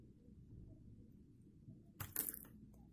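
A hand-held, solid green-and-white striped dry soap bar is scraped along its edge with a metal blade, knocking crumbs off. A quiet low rumble fills the first two seconds, then three short, bright, crunchy scrapes break through near the end.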